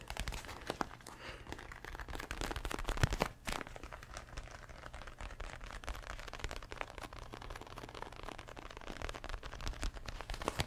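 Fingertips tap and press on a red padded leather boxing glove held close to the mic, giving dense, dull crinkly taps over a low steady hum. A louder burst of crunching rises near the three-second mark, then the light tapping carries on to the end.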